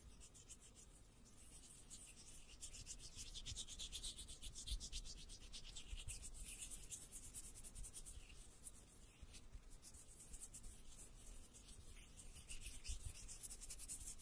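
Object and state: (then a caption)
Metal mesh microphone grille, scratched. Fingertips rub and scratch the hollow metal wire-mesh dome grille of a large black condenser microphone. The result is a continuous, rapid, uneven scratching with a bright, hissy texture over a deep low rumble, swelling slightly louder around the middle and the end.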